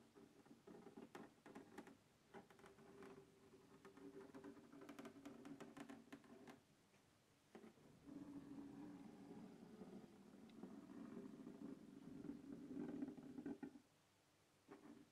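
Fingertips and nails scratch and tap the lid of a closed black textured hard plastic carrying case resting on a wooden table. Quiet, dry, hollow scratching is mixed with light irregular taps and a low-mid rasp. It pauses briefly around the middle, then returns as a steadier, slightly louder scraping before stopping near the end.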